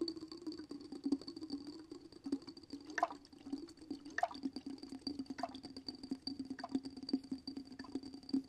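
Fingertips and nails tap and scratch the top and sides of a small, clear glass jar with a dark lid, filled with glittery water and held in one hand. Quick, light clicking taps and soft scrapes run throughout, with a few sharper taps giving a brief glassy ring. A steady faint hum and a thin high tone sit underneath.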